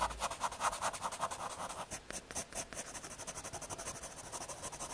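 A graphite pencil scratches light shading strokes across the surface of a small, thin square of solid brown MDF fiberboard. The result is a rapid, steady run of soft, dry scratchy strokes with a grainy rasp centered around 1.3 kHz and a bright hiss on top. The strokes ease slightly quieter partway through and continue evenly to the end.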